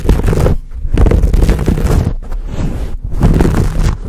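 Both hands grip a dark, fuzzy, hand-sized foam cover over a microphone, rubbing and scratching it with fingertips and nails. The result is a loud, close, boomy rumble of scraping and crackling, almost all low-end, in dense bursts with brief dips between handfuls of rubbing.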